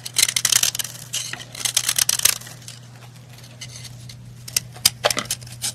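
A heart-shaped white and red pressed-powder bath bomb held in hand is scraped with a metal knife blade, sending crumbly powder flying off. Bursts of bright, dry scratching and crackling come in quick clusters, with quieter stretches in between. A steady low hum runs underneath throughout.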